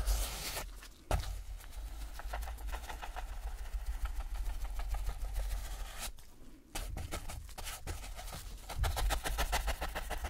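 A gloved hand drags a wide, wooden-handled flat paintbrush back and forth across a flat rectangular canvas panel lying on a table and covered in wet dark acrylic paint, in brushing and rubbing strokes. Quick, soft, scratchy strokes repeat over a steady low rumble, with brief quieter pauses around one second and between six and seven seconds.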